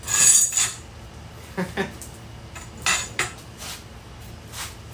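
A geode from Illinois, Indiana or Kentucky is tapped six times before cracking, giving bright, high, short clinks that ring briefly, and it sounds hollow. It is then cracked with a soil pipe cutter, revealing a cavity lined with blue and white crystals.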